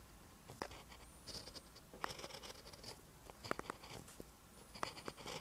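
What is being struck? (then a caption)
Pen on a lined paper notebook page. A pen writes green Korean letters on a lined paper notebook page, making soft scratching strokes. Quiet, dry scrapes and short ticks of the pen tip come in bursts, with brief high, faint squeaks at times.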